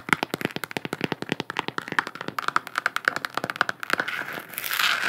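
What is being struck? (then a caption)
Hollow plastic sphere lamp. Long nails rapidly tap and then scratch a hollow plastic galaxy-print moon lamp, a sphere about 15 cm across held in one hand. Dozens of quick, dry clicks carry a faint hollow ring of about 1.4 kHz. In the final second the clicks give way to a louder, bright, hissing scrape across the surface.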